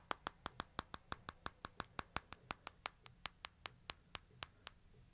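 Fingertips and nails tap the glass screen and frame edges of a small smartphone held upright, making 25 crisp, bright clicks at a quick, uneven pace. Each tap is sharp and dies away almost instantly, with a quiet low hum underneath.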